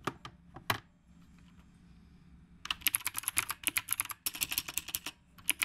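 Fingertips type on a retro typewriter-style mechanical keyboard with round plastic keycaps. A few scattered keystrokes are followed by a brief quiet pause, then a fast run of sharp, bright, clacky clicks with very short decay.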